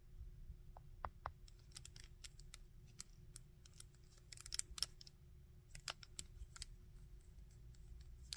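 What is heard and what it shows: Fingertips click the joints of a small painted-plastic Iron Man action figure and scratch along its head and arms. Quiet, sharp, bright clicks and brief scratches come at irregular intervals over a low, steady background rumble with a faint hum. Each click stops almost instantly, with no ring.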